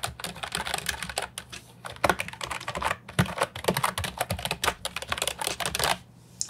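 Fingertips type on an Ajazz 308I, a compact hollow plastic keyboard with round, typewriter-style retro keycaps. Quick, uneven runs of short, sharp clicky keystrokes have a bright, hollow plastic clack and brief pauses between bursts.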